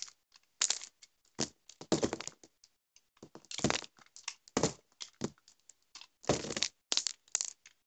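A dry, crumbly solid orange bar of soap is scraped and cut with a metal utility knife blade, breaking into small chunks and shavings. A series of short, bright, crackly scrapes and crunches comes in quick bursts separated by brief silences, each cut dying away almost instantly.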